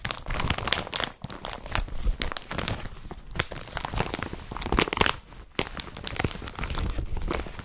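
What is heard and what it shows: Fingertips of both hands rub, scratch and crumple the surface of an empty blue IKEA BRATTBY carrier bag made of woven polypropylene, spread flat. The result is a steady, dense crinkling and scratchy crackle with a strong low rustle and bright, papery edges. Short quieter dips come around 1.2 and 5.5 seconds.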